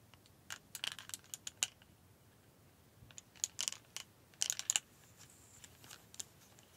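Several thin, solid white plastic clothes hangers, held in both hands, are knocked and clacked against each other. The result is a scattered series of sharp, dry, high clicks with almost no ring, bunched into bursts around the first and second seconds, around four and a half seconds, and near six seconds. The clicks have a bright tone centered near 2.9 kHz over a quiet background.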